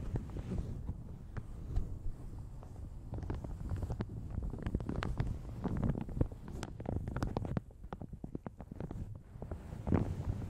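Fingertips and nails crinkle and scratch a light blue plastic shower cap stretched over a large hollow Yeti microphone. The result is a steady, boomy low rumble broken by dense, sharp crackles and ticks that come and go in irregular bursts, with little high-end content and no voice.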